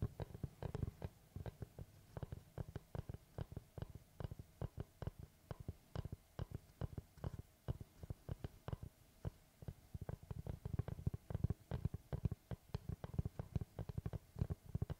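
Fingertips tap and scratch the surface of a large, round, solid wooden tree slice board held upright. Dozens of quick, dull, low-pitched taps die away almost instantly, with brief brighter clicks and a faint low hum between them. The tapping runs steadily throughout and grows denser and louder toward the end.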